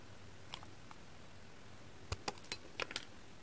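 A solid translucent pink heart-shaped glycerin soap bar, hand-sized, is repeatedly shaved with a pink kitchen knife blade, curling off flakes. Short, crisp scraping clicks with a bright, dry edge stand out sparsely at first, then cluster more closely near the end over a low, steady background hiss.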